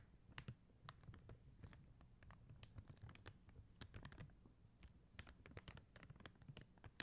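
Long teal acrylic nails tap and scratch across a flat sheet of clear and blue faceted plastic rhinestone stickers on white paper backing. Quiet, sharp clicks with bright edges stand out over a soft, low scratching rustle, each click dying away almost instantly.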